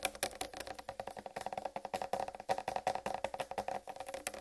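Long red-painted nails tap rapidly on a large whole uncut watermelon with a green striped rind. About thirty short, dry, hollow clicks come in an uneven run, each centered near 750 Hz with little low end and almost no ring.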